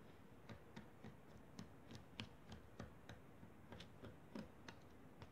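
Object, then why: Kinetic sand on a foil plate. Wooden toothpicks repeatedly poke and scratch into a crumbled pile of pink kinetic sand on a foil plate. About 13 short, dry ticks come at an uneven pace, each a brief bright click that dies away almost at once over a soft, low, grainy rustle.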